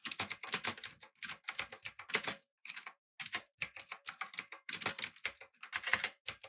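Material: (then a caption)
Plastic. A full-size backlit typewriter-style mechanical keyboard with blue switches, an aluminum frame and round plastic keycaps is typed on rapidly with the fingertips of both hands. It gives dense bursts of bright, sharp clicks that each die away almost at once, with a short pause near the middle.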